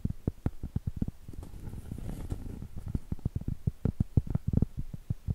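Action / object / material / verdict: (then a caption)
tap / round cork board / cork / none. Long pointed acrylic nail tips tap rapidly on the surface of a large, thin, flat, round solid cork trivet held flat. The taps are short, dull, low thuds with almost no ring, with a denser, softer stretch of tapping in the middle.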